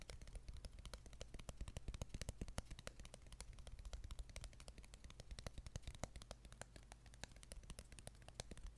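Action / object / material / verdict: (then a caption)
scrape / thin wooden ruler / wood / none. Fingertips and nails scratch and tap along a thin, flat, light wooden ruler with punched holes, held close to the microphone. Quick, dry, irregular clicks and taps with a bright edge patter continuously over soft scratching. A steady low hum sits underneath.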